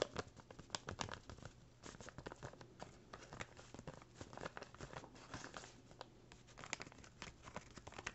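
A small, empty brown kraft paper bag, flattened and folded, is scratched, rubbed and crinkled with fingertips and nails. It makes quiet, dense crackling and crinkling in quick, sharp bursts, with scratchy rustling between them.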